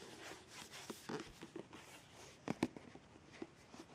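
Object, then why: Plastic squeeze tube. Long red nails tap and scratch along a white, partly full plastic squeeze tube of BIO+ scrub with printed text. Soft, dry scratching runs through the clip, broken by short, light tapping clicks, and the two loudest come close together in the middle.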